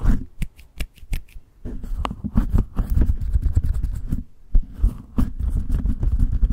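Long acrylic nails tap and scratch on top of the bare, hollow metal mesh grille of a white condenser microphone, with the hands resting on the mic. Sharp, separate clicks come first, then they blur into dense, continuous scratching and rubbing. Everything is carried on a heavy, boomy low-frequency rumble.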